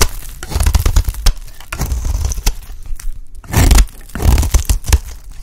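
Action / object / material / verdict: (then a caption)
scrape / bar of soap scraped with a metal blade / soap / none. A solid, dry purple bar of soap is scraped along its edge with a metal blade, shaving off thin flakes. The scraping comes in quick, uneven strokes: dry, crunchy rasps with a heavy low-end thump, some brighter, sharper scratches, and a near-silent pause just past three seconds before a longer, louder scrape.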